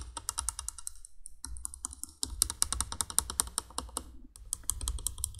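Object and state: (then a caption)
Plastic candle window light. Long painted nails tap and scratch the hollow base of a vintage 1980s cream plastic three-candle window light. Quick, dry, bright clicks come in dense bursts over a low rumble, with short pauses near 1.4 and 4.3 seconds.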